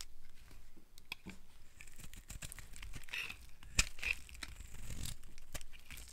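A palm-sized, solid pink dry soap bar held in one hand is shaved and carved with a metal blade held in the other, peeling off curls of soap that pile onto the table below. Quick, dry, crunchy scraping strokes and brittle crackles follow one another, with a few sharper bright snaps.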